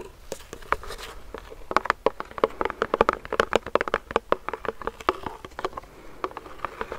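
A fingernail taps rapidly on a medium clear plastic hand sanitizer pump bottle filled with gel, held close to the mic. The taps are short, dry clicks with a hollow, mid-pitched plastic tone around 470 Hz. They come in quick, uneven bursts with no ring after each one.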